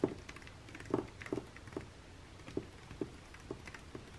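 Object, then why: Glossy paper magazine page. Fingernails tap and scratch on an open glossy paper catalog lying flat, open to a perfume spread. Soft, dull taps with short low-mid thuds come at an irregular pace, with faint papery scratching between them.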